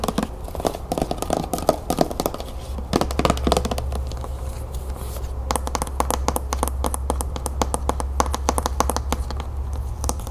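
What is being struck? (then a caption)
Plastic lotion bottle. Long green-painted nails tap and scratch a medium white plastic body lotion bottle held in the hand; the bottle is hollow and appears full. Quick dry taps with a mid-pitched knock around 630 Hz alternate with brief scratches over a steady low hum, and the tapping becomes faster and clickier in the second half. Each tap dies away almost at once, with no ring.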